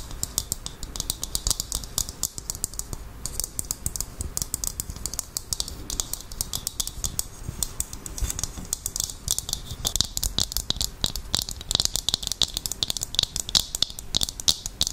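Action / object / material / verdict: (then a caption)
tap / dried coconut shell half / coconut shell / none. A hollow, empty dried coconut shell half is tapped with long nails, then placed over the microphone and tapped. Rapid, crisp, bright clicks come in a steady flurry with very short decays over a faint low rumble.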